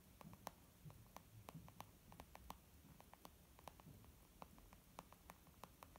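Long nails tap a rapid, irregular run of quick, dry clicks on a small white textured leather zip makeup bag lying flat, with one hand near its bottom edge. Each tap is short, with a hollow, soft tone around 800 Hz, a bright edge on top, and a low rumble underneath.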